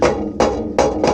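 Four hammer taps on the rear section of a fiberglass trunk wall panel, the first part of the wall made, each giving a short, dull knock with a mid-pitched tone around 555 Hz that dies away quickly. The panel sounds very stiff.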